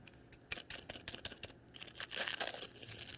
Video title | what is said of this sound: Healthy Vegetarian Air Fryer Recipes - Ninja Foodi XL Grill and 10 quart Instant Pot Vortex Oven | now listen to how crispy just listen